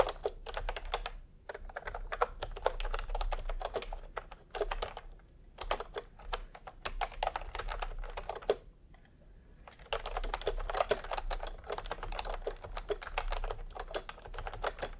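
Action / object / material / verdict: tap / plastic keyboard with round keycaps / plastic / none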